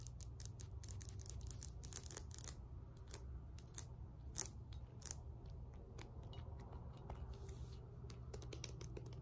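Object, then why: Cast iron kettlebell. Long nails tap and scratch across the body, handle and embossed face of a solid 20 lb cast iron kettlebell resting on a lap. Quick, dry, bright clicks and scrapes come in rapid irregular bursts with almost no ring. A steady low rumble runs underneath the whole time.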